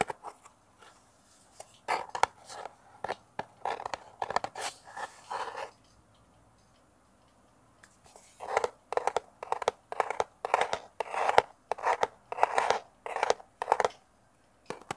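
Fingernails tap and scratch the sides of a small, hollow, rectangular brown kraft cardboard box held in the hands close to a mini mic. It makes quick dry, papery taps and scratchy bursts centred in the mids with a bright edge. The bursts come in two busy runs separated by a near-silent pause of about two seconds.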